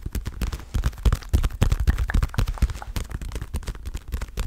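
Fingertips and long nails tap the surface of a dark blue padded leather boxing glove in rapid, irregular succession. Each tap lands as a short, dull, low thump with almost no ring, with faint brighter clicks on some strikes.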